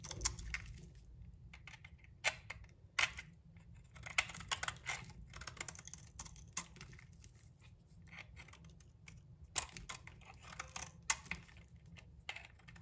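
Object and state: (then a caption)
Bar of soap being shaved. A palm-sized, solid translucent brown soap bar held in the hand is scraped and shaved with a metal utility knife blade. Dry, crackly scraping and crisp bright snaps come in bursts over a faint low hum, with each sharp cut dying away almost instantly.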